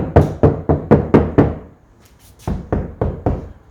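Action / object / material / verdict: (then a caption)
knock / steel car front door skin / sheet steel / undampened. Tapping on the thin steel skin of a dual cab vehicle's front door, which has not yet had sound-deadening applied, gives hollow, low, thudding knocks. There are six quick taps, a brief pause, then more taps, each dying away fast. The undamped door skin sounds thin and loose, unlike a dampened door that sounds solid.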